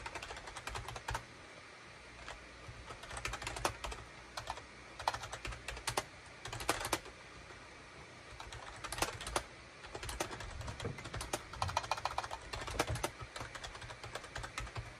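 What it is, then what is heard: Plastic keyboard typing. Fingertips type and tap on a full-size gray and beige Shipadoo K600 plastic wired USB keyboard with hollow plastic keycaps. The sound is a steady run of quick, sharp clicks in uneven bursts, each dying almost instantly, with a bright clatter over a low hum.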